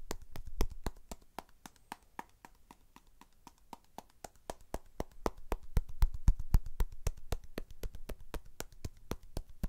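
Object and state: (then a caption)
Pomegranate. A whole, fist-sized red pomegranate with a firm rind is held in both hands and tapped with the fingertips and nails. The result is a quick, fairly steady run of short, dry taps, about four per second, each with a dull low thump and a bright click that stops almost at once. The taps grow louder and busier in the second half.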